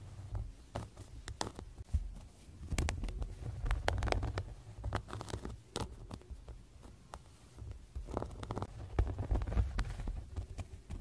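Short-nailed fingertips tap and touch the clear vinyl/PVC zippered cover, with red fabric trim, of a closed six-ring planner lying flat on a bed, over a printed card inside. Soft, dull plastic taps and brief ticking touches come in an irregular run over a low, muffled thump.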